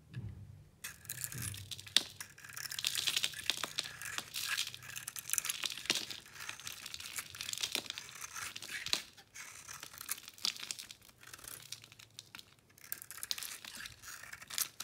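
A metal blade peels the shell off a solid green-coated bar of soap with a white core, making crumbly, powdery cuts. After a brief quiet start, a dense, bright crackling and scraping runs almost continuously for about fifteen seconds, with sharp crunchy ticks and no ringing afterward, over a faint low hum.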